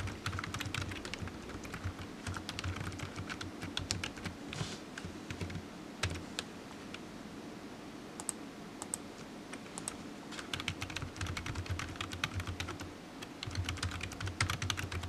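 Fingertips type on a black plastic low-profile computer keyboard, making rapid clicky key taps with bright, sharp transients. A steady low hum runs underneath, and the typing thins out for a few seconds midway before resuming in dense bursts.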